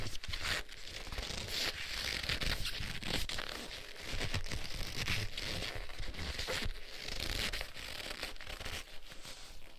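Black leather gloves worn on both hands are rubbed and pressed together, palms and fingers sliding against each other. The sound is a continuous creaking, crinkling friction with bright, rough rasps over a low rumble, swelling and easing in waves across the clip.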